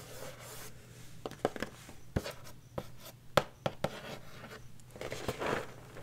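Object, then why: Cardboard cereal box. Long nails tap and scratch the front panel of a large printed cardboard Corn Pops cereal box, held upright, hollow and probably filled. Irregular, dull, short taps stand out over soft scratchy rubbing, with a faint steady low hum beneath.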